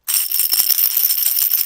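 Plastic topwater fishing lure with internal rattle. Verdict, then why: Loud. A plastic topwater fishing lure, out of its package, is shaken by hand, and its internal rattle gives a continuous, bright, high-pitched clatter with almost no low end. The rattle is loud, loud enough to hear on a long cast.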